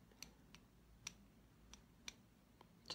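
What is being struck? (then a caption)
Wooden pencil. A slim green-painted solid wooden pencil with a metal ferrule, held horizontally in both hands, is tapped and scratched along its shaft with long fingernails. Six quiet, crisp, high-pitched ticks sound at uneven intervals, each dying away almost instantly over a faint steady hiss.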